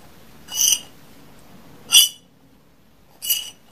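A metal fork taps and scrapes the surface of a medium white porcelain dinner plate with a pink floral rim, solid and empty and held up by hand. Three separate bright, high clinking bursts are heard, each with a ringing tone near 3 kHz that fades quickly over a quiet background.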